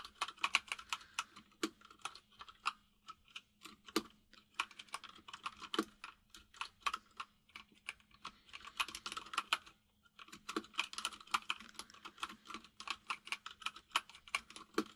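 Both hands type with their fingertips on a compact mechanical keyboard with white and grey plastic keycaps. They make a rapid stream of sharp, bright clicky taps in uneven bursts, with a brief pause near the ten-second mark. A faint steady low hum sits underneath the typing.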